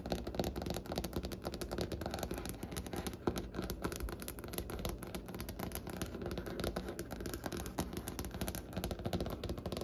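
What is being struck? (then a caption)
Wooden tabletop. Long nails on both hands tap fast across the surface of a large, solid, light wooden table. The result is a steady, dense stream of short, dry clicks and knocks with almost no ring. The sound is mostly low and woody, with little bright content.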